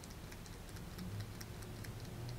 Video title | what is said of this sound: Fretwire Guitar Kit 175 Part 3 - Tuner Update and Lots of Sanding | if I shake it you can hear everything rattling around inside here